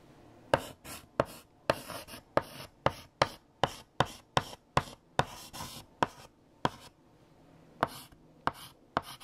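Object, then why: Chalk on a blackboard. A hand writes with a blue chalk stick on a large, flat black chalkboard. About 17 sharp chalk taps and short scratching strokes sound at an uneven pace. Each is a brief, dry click with a bright, gritty rasp that dies away almost at once.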